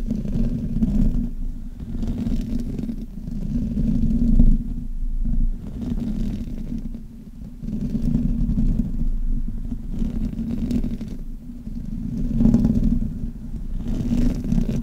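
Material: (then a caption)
Metal mesh. Fingertips and nails rub and scratch the top and sides of the hollow metal mesh grille on a black Blue Yeti microphone. The result is a dense, continuous, low rumbling friction noise centered around 200–250 Hz, with almost no bright content. The sound swells and dips in level as the rubbing moves, with brief quieter pauses.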